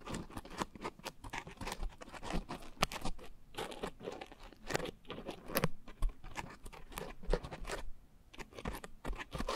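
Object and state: Foam scrub sponge being scratched.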